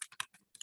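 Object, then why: Small ink bottle with a mixing ball. A bottle of metallic alcohol ink (gold, silver or copper) is shaken so its mixing ball rattles inside, because unlike the other colors the metallic inks must be mixed, much like a spray paint can. A quick series of sharp, bright clicks and rattles is heard, with almost no low end.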